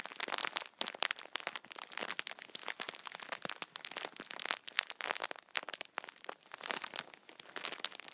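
Fingertips scratch the top of a multipack of tissue packets wrapped in thin plastic film, then hands squeeze the pack so the film crinkles. Dense, bright crackles and crunches fill the clip with almost no low end. The sound comes in irregular bursts with brief quieter gaps.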